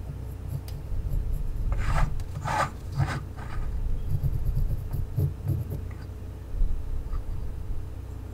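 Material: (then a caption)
Wood. A mechanical pencil tip scratches across the surface of a small, unpainted, solid wooden race car held in one hand while drawing on it. A few short, dry rasping strokes with bright edges stand out over a steady low hum, followed by quieter, lighter scratching.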